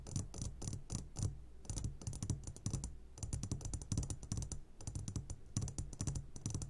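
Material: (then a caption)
Glass. Fingertips tap rapidly on the sides of an upside-down clear glass jar full of hard candies. The result is a fast, irregular run of short clicky taps with a low thump around 105 Hz under bright, glassy ticks.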